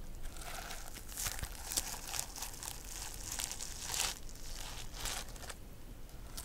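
Long nails scratch and brush across the reversible plastic sequins covering a medium flat notebook held upright. The result is a steady run of dry, crinkly rasps with bright, hissy bursts over a soft low rumble, each stroke stopping almost at once.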